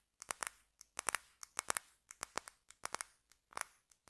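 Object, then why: Wax-filled glass jar. Fingertips and nails tap and scratch the glass sides of a small clear glass candle jar filled with solid red wax, held close. About eighteen quiet, sharp, bright clicks and scrapes come in an irregular rhythm, each dying away almost at once with no low end.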